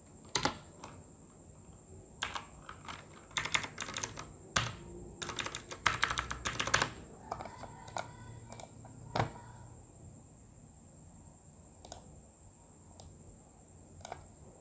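Fingertips of both hands rapidly type code on a full-size RGB mechanical gaming keyboard, a Redragon K608 with plastic keycaps on a solid body. Bursts of sharp, clicky keystrokes come in quick clusters, separated by short pauses, and grow sparser toward the end. A steady, faint high whine runs underneath throughout.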